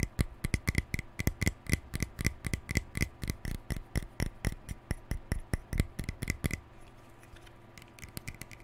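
Fingernails tap and scratch the mint plastic bristles and lilac hollow shell of a small plastic detangling paddle brush held in both hands. A quick, steady run of sharp, clicky plastic taps carries a hollow low thud and a bright tick on each stroke. After about six and a half seconds the tapping stops and only faint, soft scratching remains.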